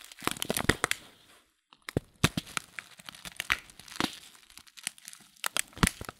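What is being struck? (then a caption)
Paper loose-leaf tea packet. Fingers crinkle and fold the paper top of a loose-leaf tea packet. Dense, dry crinkling with sharp, bright crackles and short snaps fills the clip, broken by a brief pause of near silence at about 1.5 seconds before the handling resumes.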